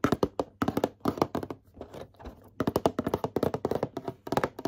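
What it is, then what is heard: Card game gift box, tapped. Rapid fingertip tapping on a boxed Pokémon card starter deck gift box produces short, dry, hollow taps in quick runs. There is a brief softer, scratchier stretch in the middle before the tapping picks back up.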